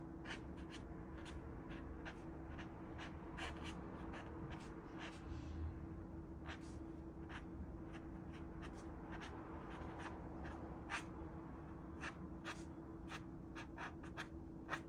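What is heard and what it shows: A fine-tipped acrylic marker draws steadily across a small white stretched canvas, likely cotton on a wooden frame, lying flat on a cluttered desk. Quiet, short, bright scratching strokes and soft rubbing repeat throughout over a steady low hum.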